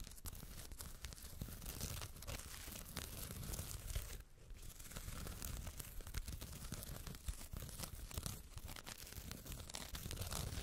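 Long red nails repeatedly scratch along the woven fabric label and the fluffy fur near the zipper of a closed white faux-fur makeup bag. The result is a steady, dense, rough scratching and rustling texture with many quick, short strokes, heavy in low rumble with a bright hiss on top. It briefly quiets around the four-second mark before picking back up.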